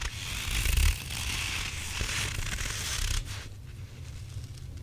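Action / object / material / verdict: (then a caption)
scrape / soft rubber squishy toy with a gritty filling / rubber / none. A hand-sized grey and white stretchy rubber possum toy with a soft, gritty or bead-filled body is held in both hands and squeezed while fingertips and nails scratch and rub its textured surface. A steady, crunchy, gritty scraping with a bright hiss sits over a low, rumbling squish. The scratching is loudest near the start and thins to a quieter, duller rub after about three seconds.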